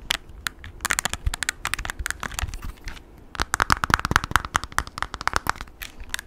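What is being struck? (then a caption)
Plastic graphing calculator keys and casing. Short nails tap rapidly on the keys and plastic casing of a handheld plastic graphing calculator with a blue rim and a keypad. The taps are sharp, dry, bright clicks with almost no ring. After a brief lull near the middle, they come in a denser, louder flurry.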